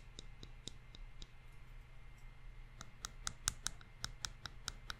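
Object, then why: Pair of thin wooden chopsticks. A pair of thin, solid wooden chopsticks is tapped and clicked against each other by hand, close to a microphone. A few spaced-out clicks come first, then a quicker run of sharp, bright ticks that stop instantly, over a steady low hum.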